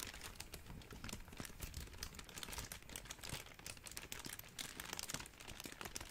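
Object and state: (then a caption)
Plastic bubble wrap being crinkled. A large wad of clear plastic bubble wrap is squeezed and crinkled with the fingers. The result is a steady run of dense, bright crackling and crinkling with quick snaps and a soft low rustle underneath. No single pops stand out.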